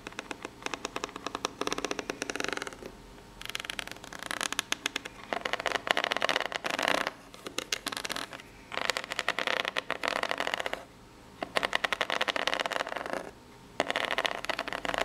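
Long pink natural nails scratch the ribs of a corrugated cardboard box that seems empty and hollow. The result is bursts of rapid, dry, bright rasping separated by short pauses, with faint speech possibly in the background.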